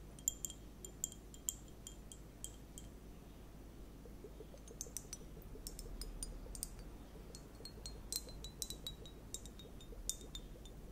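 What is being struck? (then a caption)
Plastic liquid hourglass timer with gel beads. A small transparent plastic hourglass-shaped liquid timer, sealed and filled with purple liquid and clear gel beads, is held in both hands with long painted nails and tilted and turned. The beads inside clink and shift, giving a quiet stream of tiny, bright, glassy chime-like ticks over a low steady background hum.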